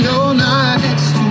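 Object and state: Nothing is struck.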